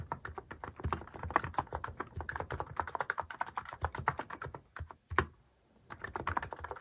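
Fingertips type rapidly on a Hanmumu mechanical keyboard fitted with cat-shaped plastic keycaps, giving a dense run of short, dry plastic clacks with a low thock under each one. The typing breaks off around the five-second mark, lands one louder key strike, pauses briefly, then resumes its steady clatter.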